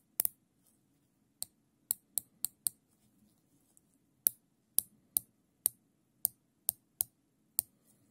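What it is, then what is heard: Nylon zip tie ratchet clicks. Gloved fingertips pull the tail of a thin black nylon zip tie, looped into a ring, through its ratchet head. Fourteen sharp, dry, bright clicks come at uneven intervals, each dying almost instantly. A faint low hum sits underneath.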